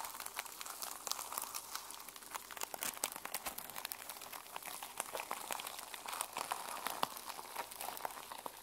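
Long nails scratch and rub the teal and silver plastic sequin cover of a small journal held in the hands. The result is a steady stream of dense, bright crackling clicks and crinkles with no low-end weight.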